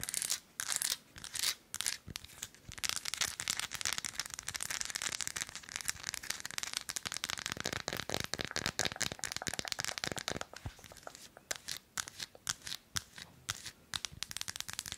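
An unwrapped solid milk chocolate bar with square segments, held in both hands, is tapped and scratched with long acrylic nails. Dense, quick, bright clicks and crinkly scraping fill the clip, with little low end and almost no ring after each tap.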